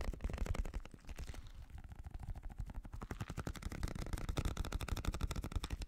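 A small translucent blue rubber gel-bead stress ball, held in one hand, is tapped rapidly by the fingertip and nail of the other hand. The result is a fast, steady stream of soft, dull, low thumps with very short decay and little bright content. The tapping eases slightly around the first two seconds, then picks back up.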